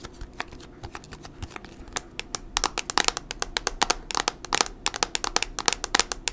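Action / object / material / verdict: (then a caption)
tap / plastic tablet back cover / plastic / none. Long nails tap rapidly on the white plastic back cover of a thin, hollow Kocaso tablet, making about 35 short, bright clicks. The clicks are sharp and crisp with almost no ring or low end.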